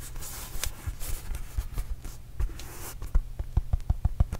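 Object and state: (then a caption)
Rubber mini basketball. A red and blue Arizona Wildcats rubber mini basketball, hollow and inflated, is tapped and patted with fingertips close by. Soft rubbing and brushing fill the first three seconds, then sharper, hollow low thumps come in a quick, uneven series.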